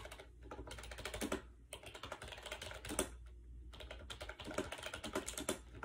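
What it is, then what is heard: Plastic keyboard keys being typed on. Fingertips type fast on a compact gray AJAZZ 308i wireless Bluetooth keyboard with hollow plastic keys and round white keycaps, resting on a bed. Bursts of quick, clicky plastic key taps with bright clatter are broken by two brief pauses, over a faint steady low hum.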